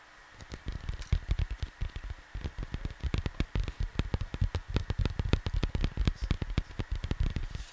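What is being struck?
Cardboard vinyl record sleeve.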